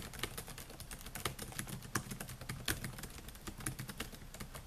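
Fingertips type rapidly on the plastic keys of a silver Dell laptop with a metal and plastic body, producing a quick, steady run of short clicky taps. The taps are bright and crisp with a soft low thud beneath them, and each one dies away almost instantly.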